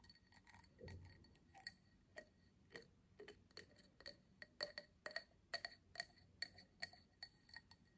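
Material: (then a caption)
Crystal glass. Long nails tap the base and sides of a small, empty cut crystal tumbler held up in the air. About seventeen quiet, separate clinks sound in an uneven rhythm; each is bright, high and glassy and dies away almost at once.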